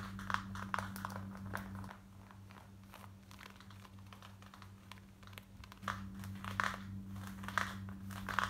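Long white nails scratch fast on light grey cotton denim jeans worn on the body, near the back pocket and waistband. Quick, dry, crinkly scratches with brief bright rasps come in bursts over a steady low hum. The scratching eases off in the middle and picks up again near the end.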